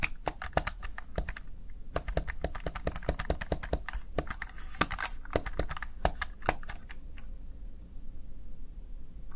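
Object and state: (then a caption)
Plastic gaming keypad. Fingertips press and tap the keys of a small black plastic backlit Razer Tartarus Chroma gaming keypad, producing quick runs of sharp, bright clicks over a low hum. A brief soft rustle passes midway, and the tapping thins to a few scattered clicks near the end as a faint steady tone lingers.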